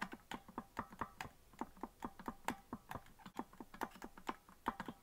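Fingertips rapidly tap and press the plastic keys of a hollow green plastic melodica that is not being blown. The result is an uneven run of short, dry clicks centered near 900 Hz with slight low thumps beneath, each dying away almost instantly.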